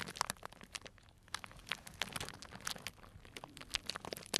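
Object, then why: Clear cellophane bag filled with dried tea pieces. A small, tied, clear plastic cellophane bag full of dried tea pieces is squeezed and crinkled with the fingers. It makes a quiet, steady run of bright, crisp crinkles and small crunches with very little low end. Each crackle snaps off dry with almost no ring.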